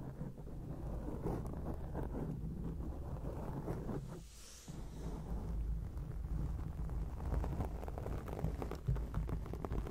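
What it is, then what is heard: Foam microphone windscreen being scratched. Long acrylic nails scratch and rub a round grey foam windscreen on a microphone, producing a continuous, dense, low rumbling scrape. The sound is muffled and bass-heavy with almost no high end, briefly thinning and quieting just after the four-second mark before the steady scratching returns.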